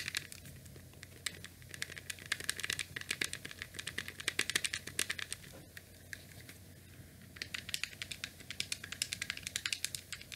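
Fingertips press and click the rubber and plastic buttons and D-pad of a small, rectangular, grey, hollow plastic Nintendo NES controller with a cable. Rapid, bright, dry clicks come in quick bursts, with a brief quiet gap just before the middle. Each tap dies away almost instantly over a faint low hum.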